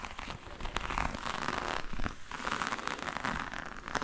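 Long yellow nails scratch across a hollow, black, glossy croc-embossed faux leather hard case with a metal rim. The sound is a steady, dense crackling scrape with a grainy, zipper-like texture and quick bright ticks throughout, carried over a low rumble.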